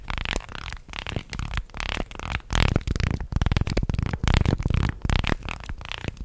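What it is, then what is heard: Wooden articulated fish toy. A small segmented wooden fish toy made of light wood slats is bent, shaken and wiggled by hand close to the mic. Its segments clack together in a rapid, uneven rattle of short, dry clicks with a heavy low-end thump. Bursts come in irregular clusters, louder in the middle stretch.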